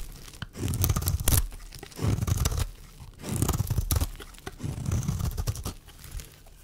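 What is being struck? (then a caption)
Bar of soap cut with a metal blade. A small, solid white rectangular bar of dry soap is held in the hand and scraped and cut with a black-handled metal blade, shaving off curled flakes. The sound is a dry, low crunching scrape with a rough, tearing texture, coming in several swelling strokes separated by brief quiet pauses.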